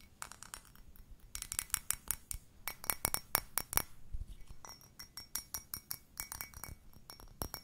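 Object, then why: Glazed ceramic mug. Long nails tap the body and bottom of a hollow, empty-looking cream-pink glazed ceramic mug with a blue handle. A long series of quick, sharp clinks comes in uneven bursts, each with a bright, glassy tone and a faint steady ring over a soft low background rumble.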